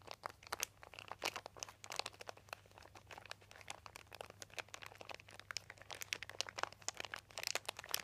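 Fingertips rub and crinkle a crumpled, thin white embossed plastic sheet with a dotted texture, lying on carpet. The result is a quiet, steady stream of dense, crisp crackles and crunches, mostly bright, with each snap dying away almost instantly over a faint low hum.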